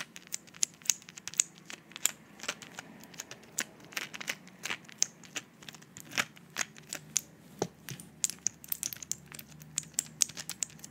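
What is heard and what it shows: A flat blister pack of white pills with a plastic front and foil back is held up in the hands while fingertips and nails press, tap and crinkle the plastic blisters. The result is a dense run of sharp, bright clicks and crackly crinkles with almost no low end, each snap dying away instantly.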